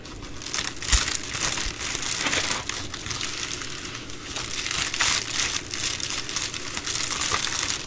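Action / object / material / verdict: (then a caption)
scrape / plastic bubble mailer envelope / plastic / none. A large white and blue plastic bubble mailer envelope lies flat on a wooden table while fingertips and long nails scratch, rub and crinkle its bubbled plastic. The crackling is dense, bright and continuous, with a sharp pop near the first second and louder bursts of crinkling throughout.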